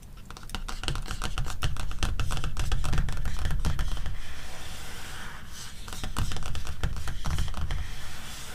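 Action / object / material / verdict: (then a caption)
tap / paper magazine cover / glossy paper / none. Long red-painted nails and ringed fingertips tap and scratch the glossy paper cover of a closed softcover animal magazine lying flat on a fur rug. The result is a quick, uneven stream of short, dry clicks and scratches with a soft, low, thumpy body beneath. The sound swells and fades slightly, with no ringing after each touch.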